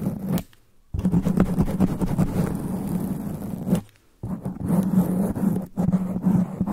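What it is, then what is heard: Foam microphone windscreen being scratched. Extra-long black nails scratch fast and aggressively on a sponge foam microphone windscreen. Dense, muffled rustling and scraping is heavy in the low end with a steady low hum, broken by two short silent pauses into three bursts.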